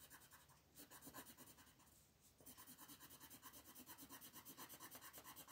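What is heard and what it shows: An orange wooden colored pencil is rubbed hard across a thin printed coloring book page on a wooden table, shading the background while the other hand, with long nails, holds the paper down. Quick, rhythmic rasping back-and-forth strokes with a bright, papery scratch continue throughout. They soften briefly in the middle before picking up again at a steady pace.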